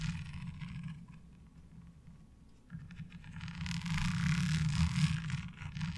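Long almond-shaped nails tap and scratch along the ridges of a light blue, ribbed plastic laundry washboard, flat and fairly thin, resting on a dark cloth. Soft, quick scraping and tapping sits over a steady low rumble, dips quieter for a moment, then swells into a louder, brighter run of rapid scratching toward the end.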